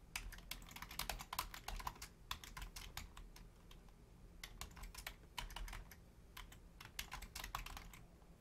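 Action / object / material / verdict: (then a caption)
tap / plastic computer keyboard / plastic / none. A black plastic full-size Logitech keyboard with a hollow shell and membrane keys is typed on rapidly by both hands, using long painted nails and fingertips. Quick, bright, clicky taps come in dense bursts over a low steady rumble, easing briefly around the middle and again near six seconds before picking back up.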